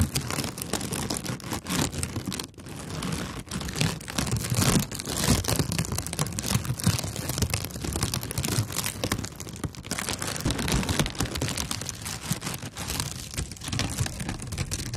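A thin, flexible sheet of brown kraft honeycomb packing paper is held in both hands and scratched and crinkled with long nails. The result is a dense, continuous crackle and rustle with a low papery rumble underneath and bright, crisp highs on top. It stays steady for the full clip, easing only briefly near the start.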